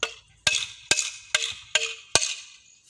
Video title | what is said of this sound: sampalan hahaha | Kahit tampasin ng bakal, hindi kayang basagin.